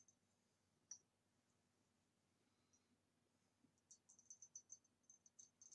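Long nails tap along the body of a hollow, empty green ribbed glass vase lying on its side. A few faint, isolated taps give way to a quick run of bright, high clicks near the end. Each tap is very quiet and dies away almost at once, with no low end.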